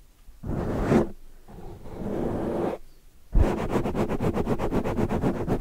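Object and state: Foam microphone windscreen being scratched.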